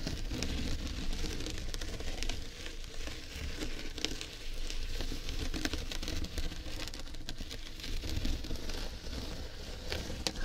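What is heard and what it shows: A large jute tote bag with an owl print is tapped and scratched with long red nails across the woven jute and the printed owl. The result is a steady, dense crinkly scratching with quick tapping crackles and a low rumbling undertone throughout.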